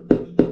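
Two knocks on the cardboard retail box of a Ulefone Armor 24 phone produce short, dull, low-mid thuds with little ring. The box sounds solid and rigid.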